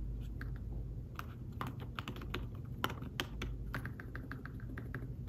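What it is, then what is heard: Fabric-covered tablet keyboard. Fingertips type on a thin folio tablet keyboard with fabric-covered keys, producing a quick, uneven run of soft, muted taps with a few slightly sharper clicks. Each tap is short and dead, and a steady low hum runs underneath.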